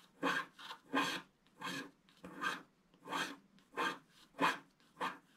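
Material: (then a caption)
Wax-coated card. A wooden stick scratches the black wax coating near the right edge of a flat, thin scratch-art picture card lying on a table. Nine short, dry rasping strokes come at an uneven pace, each a bright, broadband scrape.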